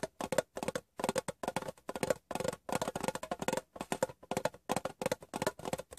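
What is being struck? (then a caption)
Small rectangular metal tin. Fingertips and painted nails tap the top edge of a hollow, rectangular metal Wrigley's gum tin turned upside down. The result is quick clusters of light, dry taps with a faint metallic ring centered around 540 Hz, each dying away almost instantly, separated by brief pauses.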